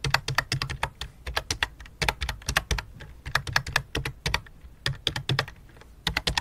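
Both hands type rapidly with fingertips and long dark nails on a full-size white and light-blue plastic computer keyboard resting on black cloth. The result is a steady run of short, crisp clicky taps with bright tops and a soft low thump under each keystroke, coming in quick bursts separated by brief pauses.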